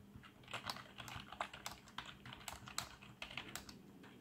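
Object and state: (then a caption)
Plastic membrane keyboard. Fingertips type on a black plastic membrane keyboard with RGB backlight, producing a quick, irregular run of soft, bright key clacks. Each tap is short and dry, with slightly louder strikes standing out, over a faint steady low hum.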